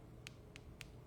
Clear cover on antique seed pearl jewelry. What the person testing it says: tapping it to feel that sounds like plastic and not glass